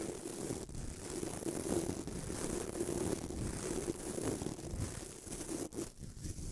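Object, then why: Bamboo toothbrush with nylon bristles. Fingertips rub the white nylon bristles of a small bamboo toothbrush, producing a steady, close scratchy rustle. The texture is dense and continuous, with a low-mid body around 330 Hz and a faint bright hiss above, and it dips briefly near the end before resuming.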